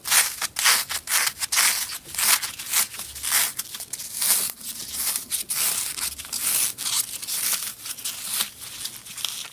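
A small green floral foam brick with four colored jelly cubes set into it is held in both hands and crushed and broken apart with the fingers, tearing off chunks of foam. Bright, dry crunching and crackling comes in uneven bursts about twice a second, with almost no low end.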